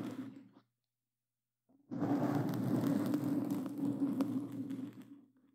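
Claw-gloved hands scratch and grip a black foam windscreen on a microphone, giving a brief burst of rough, crackling scratching that cuts to silence. After about a second, dense, continuous scratching and rubbing returns with a steady low hum underneath and bright scraping over the top. It gradually fades out at the end.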